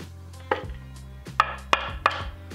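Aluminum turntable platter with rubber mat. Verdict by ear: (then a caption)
Damped. Four taps on the back of the die-cast aluminum platter of a Cambridge Audio Alva ST belt-drive turntable (2022) with its rubber mat laid on, each a short, dead knock that dies away almost immediately. The sound is much more dead than the bare platter's ringing because the rubber mat dampens its resonance.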